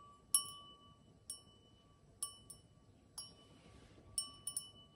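An empty stemmed cut-crystal wine glass with a diamond pattern, held in the hand, is tapped eight times with long acrylic nails. Each tap gives a bright clink and a clear, sustained glass ring near 1.1 kHz, with higher overtones, that fades slowly between taps.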